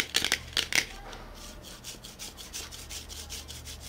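A small metal BOSS coffee can is held in both hands and turned while short fingernails and fingertips tap, rub and scratch its body. A quick cluster of sharp, bright clicks comes first, followed by softer, repeated scratchy strokes, all high-pitched with almost no low end and no lingering ring.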